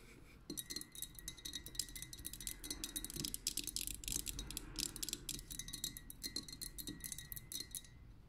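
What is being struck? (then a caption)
Glass lava lamp filled with liquid. Long nails tap rapidly with both hands on the tapered glass vessel of a pink lava lamp, full of liquid and wax and set on a metal base. The clip is a fast, continuous patter of bright, clicky glass taps with a faint steady high ring beneath them.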